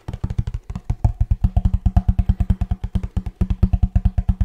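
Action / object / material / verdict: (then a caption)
tap / cardboard box / cardboard / none. Fingertips and nails tap rapidly on a hollow kraft cardboard box with a blue band while it is turned in the hands. About 38 quick, dry, hollow thumps come in an uneven rhythm, each dying almost at once, with a deep low body and a faint papery click on top.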